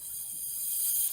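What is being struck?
Nothing is struck.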